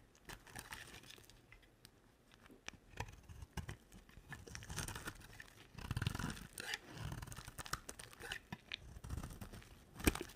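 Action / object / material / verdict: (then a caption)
scrape / bar of soap cut with a knife blade / soap / none. A utility knife blade carves an olive-green, rectangular bar of dry solid soap, making soft, crumbly scraping and shaving sounds with low thuds and brief bright crackles. The cuts come in uneven bursts, growing denser in the middle, and end with one sharper crack.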